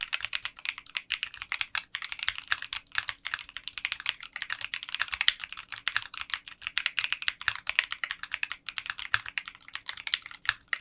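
Fingertips type continuously on a 60% mechanical keyboard with translucent pink polycarbonate keycaps in a clear case. A rapid, steady stream of short, bright clacks centers around 3 kHz, with almost no low end. Each keystroke dies away almost instantly.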